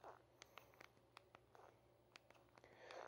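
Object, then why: Plastic mobile phone keypad. Black-gloved thumbs press and tap the plastic keypad buttons of a small red Nokia feature phone with a plastic shell. About 14 soft, short, bright clicks are spaced unevenly over a quiet background, each dying away almost instantly.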